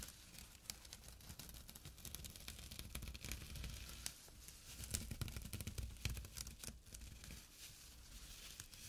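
Fingertips and nails scratch across a small, flat burlap pouch with a drawstring. The result is a quiet, dense, irregular rasping with crackly, tearing-like bursts, a low rumble underneath and a bright hiss on top. The louder strokes cluster around the middle of the clip.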